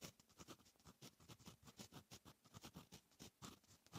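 A fine metal fountain pen nib writes on a lined paper notebook page, making a quick run of soft, dry scratching strokes. Each stroke is a short rasp with a low papery rub under a bright hiss. The strokes come in a steady, busy rhythm throughout.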